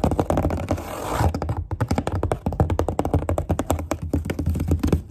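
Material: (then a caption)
Cardboard. Long grey nails tap rapidly on the wall of a corrugated cardboard box near its edge. The taps land as quick, dull, low thuds with almost no ring, after a short scratchy rustle near the start.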